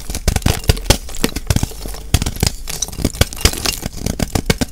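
A solid white gym chalk block of magnesium carbonate, held in hand with a crumbly top edge, is scraped and shaved with a metal blade, and flakes fall into a bowl. The result is a rapid series of short, dry, crunchy scrapes with crackly bright edges over a low, thumpy body. Each stroke cuts off quickly with no ring.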